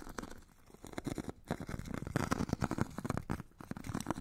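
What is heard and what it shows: A metal stick scratches and rubs along a solid hand-held foot file with a purple abrasive grit layer on a white foam core. It makes dense, rapid, gritty rasping strokes with a low, muffled body, broken by brief quiet gaps.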